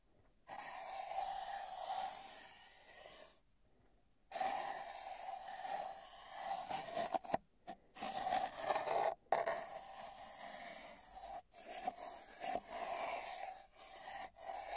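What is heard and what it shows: A pencil tip taps and scratches along the top of a long, hollow brown cardboard mailing tube with tape bands, lying on a bedsheet, heard from a microphone inside the tube. Steady scraping passes carry a hollow resonant hum around 680 Hz with bright, rough texture. Brief silent gaps separate the passes, and sharper taps punctuate them.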